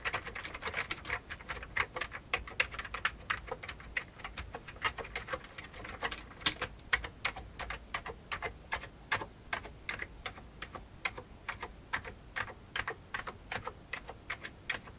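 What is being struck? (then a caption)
Plastic computer keyboard. Fingertips type on a full-size vintage beige plastic computer keyboard, pressing the keys in a steady, quick stream. Each keystroke is a short, bright plastic click that dies away almost at once, with very little low-end thump and faint quiet between strokes. The rhythm stays fairly even throughout, with an occasional louder clack.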